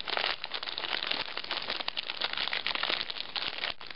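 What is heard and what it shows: A small metallized plastic Bugles chip bag full of corn snacks is held in both hands, crinkled and squeezed while long nails scratch its surface. The result is dense, continuous, bright crackling and crinkling with little low end, rising and falling in steady, uneven bursts throughout.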